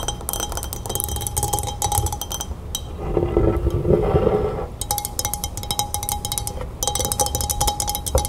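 Long red nails tap rapidly on the sides of a tall pilsner glass full of pale lemonade resting on a wooden table, producing quick, bright clinking taps with a short ring. The tapping briefly drops away in the middle, leaving a softer, lower sound, then resumes in fast clinking bursts.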